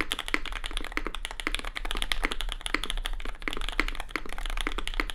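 Both hands type continuously on a compact red custom Cloudline mechanical keyboard with lubed SP Star Sacramento switches, plastic keycaps and an aluminium plate. Rapid, dense keystrokes produce short, bright clacks centred around 2 kHz that die away almost instantly, over a steady low hum.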